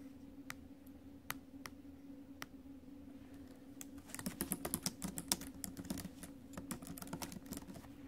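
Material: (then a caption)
Plastic. Long acrylic nails and fingertips tap and click the plastic keys of a silver ASUS laptop with a metal chassis, with one hand briefly touching the metal trackpad area before returning to typing. A few sparse, sharp clicks give way after about four seconds to quick, dense, irregular typing with bright, short ticks. A steady low hum sits underneath throughout.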